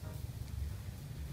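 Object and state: Nothing is struck.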